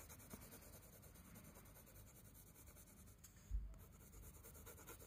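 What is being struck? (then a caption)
Coloured pencil on sketchbook paper. A wooden coloured pencil held in the fingers scratches and rubs across a flat spiral-bound paper sketchbook page while shading. The result is a quiet, steady, grainy scratching and rubbing with a soft, dull low rumble underneath, and one brief louder bump near the end.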